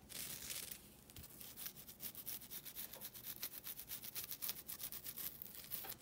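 A flat, rectangular green nylon scouring pad, thin and solid, is held in both hands and scratched with long nails. It makes a quiet, bright, papery rasping: a continuous scrub at first, then quick, uneven strokes at about four per second. Each dry scratch cuts off almost at once.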